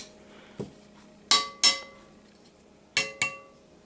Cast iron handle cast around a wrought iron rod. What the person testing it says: it's not loose and when i tap it very solid sounding has a nice ring to it